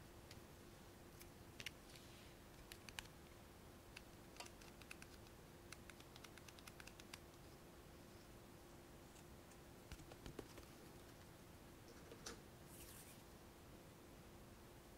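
A small, hollow, square black plastic single eyeshadow compact with a clear lid and a gold pressed powder pan is tapped and clicked with long fingernails and opened. Dozens of quiet, sharp, bright clicks and taps fall in scattered bursts with very short ring. A steady low hum runs underneath throughout.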